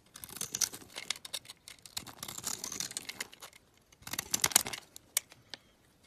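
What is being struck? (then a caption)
Bar of olive oil soap. A metal utility knife blade scrapes thin flakes off the flat face of a solid green olive oil bar soap held in hand. The result is a run of bright, crisp, crackly scraping strokes with a brief pause partway through. A louder burst and a few sharp ticks follow before it fades.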